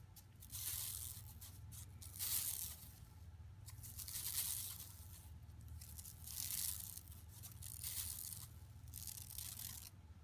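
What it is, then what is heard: Woven plastic mesh bag being scratched. Long nails scratch near the bottom edge of a flat, empty yellow woven plastic mesh tote shopping bag lying on carpet. Bright, papery rasping swells in repeated bursts over a steady low hum, each stroke fading quickly before the next.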